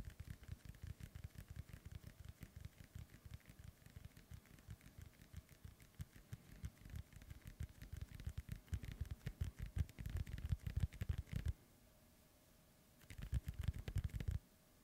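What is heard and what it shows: Fingertips and nails tap rapidly on top of a hollow, inflated synthetic leather soccer ball, producing dense, dull, low thuds with short decay. The tapping grows louder toward the end, breaks off into near silence, then returns in a brief final burst.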